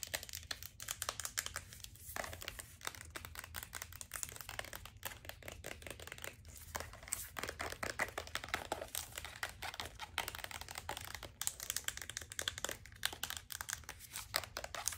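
Long acrylic nails rapidly tap and scratch a medium-size white plastic cosmetic lotion bottle with a gold band near the cap, which appears full. A dense, fast stream of dry, crinkly clicks and scrapes plays out, bright and thin with almost no low end. Each tap stops almost instantly, over a faint steady low hum.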